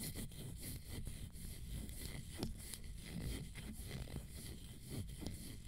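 Long nails tap and scratch the teal straps and orange panel of a leather fringe high-heel sandal with a gold fringe and a black sole, held up near the microphone. The sparse, quiet taps are short and sharp over soft scratchy rustling, with most of the energy low and very little ring.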